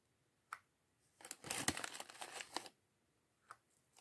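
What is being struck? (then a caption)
Thin plastic bag holding small plastic bricks. A small clear polyethylene bag of loose plastic LEGO bricks from the Chevrolet Corvette C8.R Race Car set 76903 is held in both hands while fingertips pick through the bricks and crinkle the bag. A few sharp, bright clicks are heard, and a dense burst of crinkling and brick rattling runs from about 1.2 to 2.7 seconds. Quieter ticks follow near the end.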